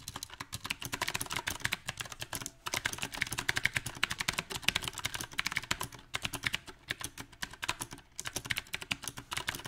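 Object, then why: Mechanical keyboard, plastic round keycaps. Fingertips type on a backlit compact mechanical keyboard with round typewriter-style plastic keycaps on a silver metal frame. Fast, uneven runs of sharp, bright clicks and clacks stop only for brief pauses. Each keystroke dies away almost instantly.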